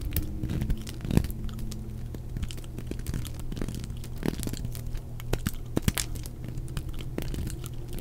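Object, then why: Bar of soap cut with a knife blade. A utility knife blade cuts and shaves a hand-held, solid, dry white bar of soap that is already partly carved into facets. Quick crisp crunching and scraping strokes with sharp clicks ride over a steady low hum.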